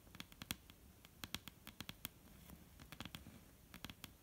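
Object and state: Wooden table tapped with fingertips.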